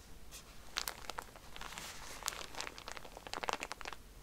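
A plastic-wrapped pack of cotton pads stands on its side while fingernails scratch the wrapper and hands squeeze it. Bright, crisp crinkling and crackling come in quick, uneven bursts, with a few sharper snaps among a steady rustle.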